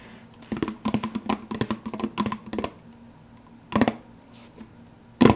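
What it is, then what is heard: Empty plastic soda cup, lid tapped. Fingertips tap quickly on the clear plastic lid of a large, empty, hollow plastic soda cup. A fast run of light, hollow clicks with a low tonal ring is followed by a pause and a few louder, separate taps.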